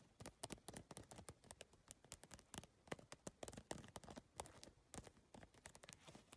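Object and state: PVC-tile handbag tapped with long nails.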